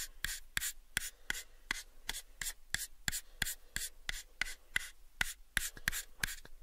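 Fingertips rub and nails scratch the faces of a light, pale wooden cube box. About twenty sharp, dry scratching strokes come in an uneven rhythm, each a brief bright burst with a faint low thump that stops almost instantly. Soft rubbing fills the gaps between strokes.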